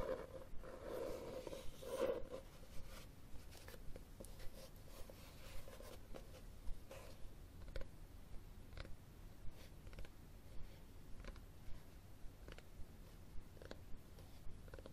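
Fingernails tap and scratch the cover and spine of a red cloth-covered hardcover book, which is first tilted and then held flat close up. Soft, dry taps recur at a loosely steady pace over a quiet low rumble, with brief scratchy strokes between them. The clicks stop short with almost no ring.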